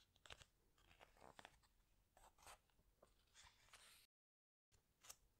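Fingertips press and slide over the glossy paper pages of a large open hardcover book and slowly turn one, producing soft, bright crinkling and crunchy rustles in short bursts. The sounds are quiet and dry, with a brief silent gap before a final sharp rustle.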